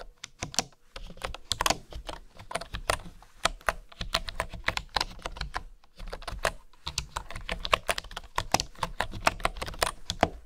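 Fingertips and long nails type on a full-size keyboard with a bamboo body and bamboo keycaps. A steady stream of short, dry, bright clicks comes with soft low thumps underneath. Brief pauses break the typing near the start and just past the middle.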